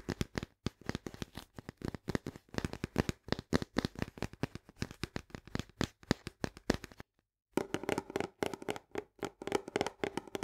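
Long nails tap and scratch rapidly on the green plastic lid and rim of a cylindrical paper and cardboard canister of soluble barley. The result is a quick run of dry, short clicks with light scratching, broken by a brief pause at about seven seconds before the tapping resumes.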